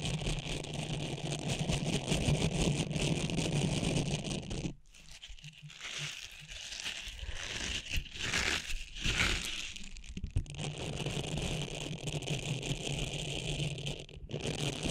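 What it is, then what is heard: Silicone cleansing pad. A small, flat, blue, textured silicone facial cleansing pad rests on top of a microphone while long nails scratch it and fingertips rub its textured surface. The result is a dense, steady crinkling and rustling with a low rumble and bright hiss. It briefly drops quieter around the middle before the scratching resumes.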